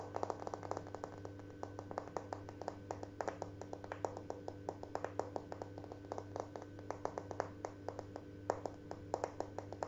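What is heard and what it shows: Large, flat, beige glazed ceramic wall tiles with dark grout lines, a solid surface, are tapped rapidly with short fingernails and fingertips. The result is a steady stream of short, dry clicks that die away almost instantly, over a constant low hum.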